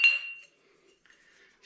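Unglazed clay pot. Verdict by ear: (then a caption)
Fired. A Dacian-style unglazed clay pot, dried, polished with a stone and fired until red, is knocked once. It gives a bright, clear ring centred around 2.7 kHz that fades within about half a second. Faint quiet sounds and a brief soft hiss at the end follow.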